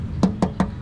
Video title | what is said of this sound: PAANO BUMILI NG SEGUNDA MANO NA OTO | yan yung tunog ng lata